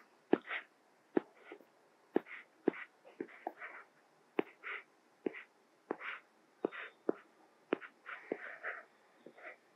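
A white plastic Apple Pencil stylus, held in the fingers, writes on the small flat glass screen of an iPad Mini tablet in short strokes. Crisp, dry tip taps on the glass alternate with soft, scratchy bursts of writing. The clip stays quiet and steady from start to finish.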